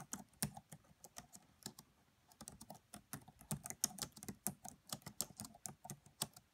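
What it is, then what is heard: Plastic laptop keyboard typing. Both hands type with fingertips and long French-manicured nails on the black plastic chiclet keys of a red laptop with a hollow body. About two dozen quiet, dry, bright key clicks follow one another in an irregular rhythm, each with a soft low tap underneath and almost no ring.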